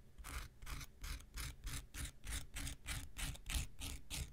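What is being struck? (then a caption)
Foam nail buffer block. An x-acto knife blade scrapes across a handheld pink rectangular nail buffer block of solid foam with an abrasive surface. It makes a steady, quick series of dry, rasping strokes, each a bright hissing scratch over a low rumble, with short quiet gaps between.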